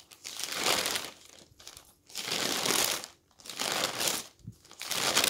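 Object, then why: Newsprint newspaper pages. Hands grab, fold and turn the pages of a stack of thin newsprint newspaper, making bright, rustling crinkles. Several broad swells of crinkling noise rise and fall with short quiet gaps between them.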